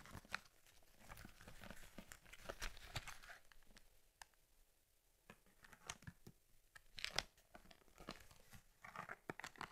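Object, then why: Leather camera case. Fingertips and long nails squeeze and rub the front of a closed cowhide leather Argus C3 camera case with a stitched lens cover. Quiet, dry leather creaks and crinkles come with sharp, bright ticks and scratches. Brief pauses break up the sound.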